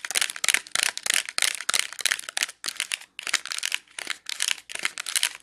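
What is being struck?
Clear plastic clamshell with wax cubes.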